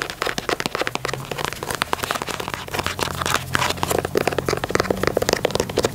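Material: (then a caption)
Leather. Long natural nails tap and scratch the perforated leather toe box and side panels of an empty, hollow black and white leather low-top Nike Dunk sneaker held in hand. The result is a rapid, dense stream of short, dry clicks and crackly scratches with bright edges, all cutting off almost instantly. A faint low steady hum sits underneath.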